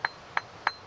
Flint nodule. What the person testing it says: if it's a good piece, it should have a real crystal sound like that. That means there aren't so many flaws in the flint